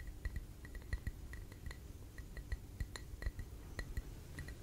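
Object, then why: Glass jar filled with candle wax. Fingertips and nails tap and clink on the wall and base of a clear glass tumbler filled with red candle wax, held close to the mic. A steady run of quiet, slow taps gives soft low thumps topped by a short, bright glassy ping that dies away almost at once.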